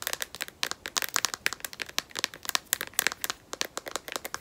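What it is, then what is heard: Phone in plastic case. A smartphone in a solid black matte, rubberized plastic case is tapped rapidly with long nails. About 26 sharp, dry clicks come in an uneven, quick patter. They are bright and crisp, with no low end and no ring after each tap.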